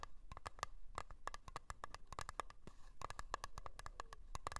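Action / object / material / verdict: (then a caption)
tap / small round metal cream tin lid / metal / none. Long blue-painted nails tap and scratch the lid of a small, round, blue metal Nivea Creme tin, lidded and likely full, resting on fur. Quick, sharp, bright clicks, each with a brief metallic ring near 1.1 kHz, come in an uneven stream, with a soft scratchy rasp filling the gaps.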